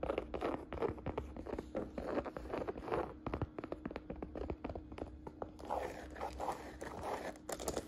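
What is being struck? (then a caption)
Woven jacquard fabric saddle bag. Fingertips and long nails tap and scratch the textured canvas of a woven jacquard fabric saddle bag. Quick, dense taps mix with dry scratchy rustling, centered in the mids with sharp clicks reaching into the highs. A faint, steady low hum sits underneath throughout.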